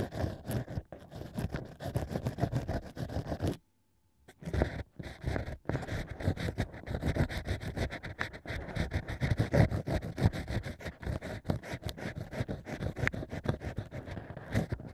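A bamboo ear pick scrapes inside the central hole of a stack of natural cork wine corks, making a dense run of dull, low, rustling scratches. The strokes are rapid and uneven. A brief silent pause comes early before the scraping resumes and continues to the end.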